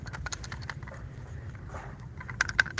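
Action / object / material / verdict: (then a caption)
shake / bamboo staff / bamboo / loose. A bamboo staff kept as an heirloom is shaken, and unknown loose contents inside, never seen because the staff is not opened, make faint, rapid ticking and pattering over a low background rumble. A few sharper, louder clicks near the end ring briefly around 1.5 kHz with bright highs.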